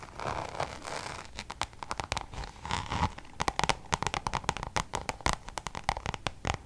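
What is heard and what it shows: Long nails scratch and then rapidly tap a Louis Vuitton coated-canvas zip pouch held up in front of the face. The clip opens with a soft, rustling scrape and moves into quick, dry clicks that grow into a dense run of sharp, bright taps. Each tap dies away almost instantly.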